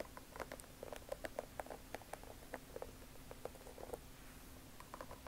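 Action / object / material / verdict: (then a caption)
tap / rubber sole of a canvas sneaker / rubber / none. Long nails scratch and tap the white rubber sole sidewall of a Vans Old Skool checkered canvas sneaker held upright. A quick, uneven series of short, dry clicks with a hollow, mid-pitched tone and faint bright scratchy edges sits over a quiet, steady low hum.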